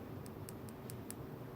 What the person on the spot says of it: This first pendant is just a plastic crystal. Nothing special.